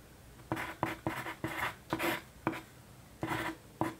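A yellow wooden graphite pencil, held in a hand with long painted nails, writes on a single flat white paper sheet resting on a desk. Short, dry scratching strokes come in quick bursts with brief quiet gaps between them, each with a bright, papery rasp and almost no ring.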